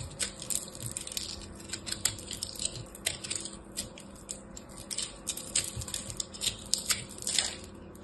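A solid chunk of pressed blue and purple soap chips, a crushed soap ball, is held in hand and scraped with a small black blade. Dense, bright crunching and crackling scrapes come in quick irregular bursts over a faint low hum. Each scrape dies away almost at once.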